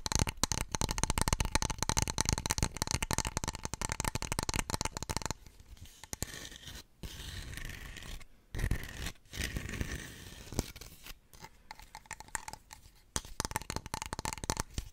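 Long nails scratch and tap across the textured surface of a small, solid stone warrior figurine held close to the microphone. Dense, rapid, bright scratching fills the first five seconds, then gives way to quieter, softer scrapes and taps with brief pauses. Quick scratching picks up again toward the end.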